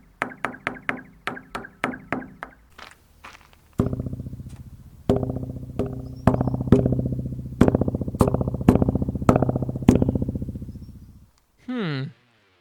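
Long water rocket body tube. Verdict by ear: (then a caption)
Empty. Tapping on the hollow, empty body of a 12 m water rocket produces a series of quick, low, booming knocks. Each tap is followed by a rapid train of echoes bouncing back and forth inside the tank, giving a springy, ringing tail. A short wavering tone closes the clip.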